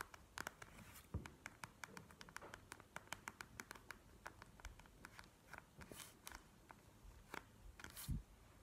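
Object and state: Plastic gel-bead eye mask.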